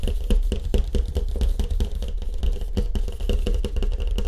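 Fast fingertip tapping on a surfboard with a wood grain finish. It makes a quick, continuous run of dull, hollow knocks with deep low-end thump and very little ring.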